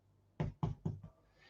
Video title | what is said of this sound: FOCACCIA-FOCACCIA BREAD RECIPE-FOCACCIA RECIPE-TOMATO FOCACCIA-ROSEMARY FOCACCIA-BREAD-ITALIAN FOOD | when you make a bread it should sound hollow if it doesn't sound hollow then that's not bread